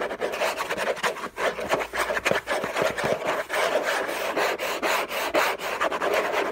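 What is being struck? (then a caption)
Textured-paper cardboard box. Fingertips and nails scratch vigorously across the lid of a hollow, orange textured-paper cardboard gift box. The result is a dense, continuous rasping scratch of quick overlapping strokes, centred in the midrange with a dry papery hiss above it and almost no low end.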